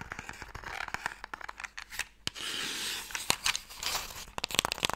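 Fingernails scratch along a small, closed, pale wooden Mikado box, a hollow box that holds sticks. The result is dry, bright rasping broken by quick sharp ticks and clicks, with one longer continuous scrape in the middle of the clip.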